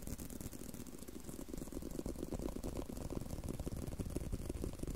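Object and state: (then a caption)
Leather belt. A leather belt is tapped and handled, making a quiet, continuous run of rapid, soft taps and light rattling at an uneven pace. The sound is mostly low and dull, with each tap dying out almost instantly.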